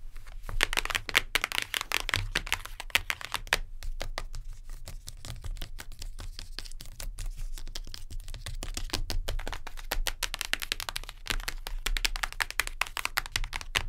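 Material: Cardboard.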